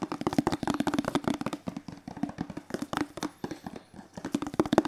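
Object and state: Hollow plastic bottle.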